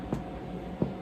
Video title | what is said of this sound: Izabelle’s Milk Loaf Thermomix | knock it, and it should sound hollow. That means it's cooked.